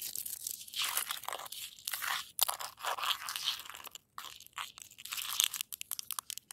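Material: Snow, ice.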